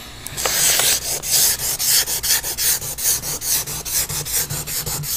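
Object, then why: Paper drawing sheet rubbed with pastel. A pastel or charcoal stick held in the fingers rubs and draws across a large sheet of paper bearing a pastel eye drawing, taped flat on a board while the other hand rests on the sheet. A steady run of quick, bright, hissing rubbing and scraping strokes rises and falls with each pass.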